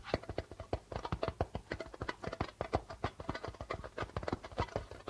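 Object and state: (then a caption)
Darbuka drum with plastic head. Fingertips and nails tap quickly on a hollow darbuka drum with a white plastic head, making a steady run of short, dry taps in a rhythmic drumming pattern. Each tap has a low, hollow thump under a brighter click and dies away almost at once.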